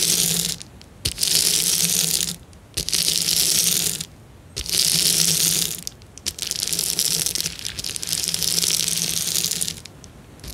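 A fingertip rubs and presses a clear plastic bubble wrap sheet, producing bright, high crinkling and crackling in bursts of a second or more, separated by short quiet pauses. A faint low hum sits under each burst.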